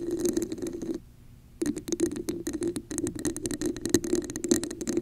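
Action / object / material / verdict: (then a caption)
tap / textured plastic cup / plastic / none. Long acrylic nails rapidly tap and scratch a hollow red plastic cup with a raised diamond texture held over a microphone, making a dense, rattling clatter with a hollow midrange tone and bright, crisp edges. The sound stops briefly about a second in, then resumes just as busy until the end.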